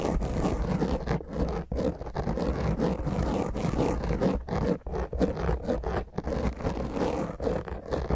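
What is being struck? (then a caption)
Foam microphone windscreen. Long grey nails on both hands rapidly scratch the top of a black foam windscreen fitted over a round microphone head. The result is a dense, continuous, rough scratching and rustling with a heavy low rumble and a muffled, dull top. The scratching briefly dips in level throughout.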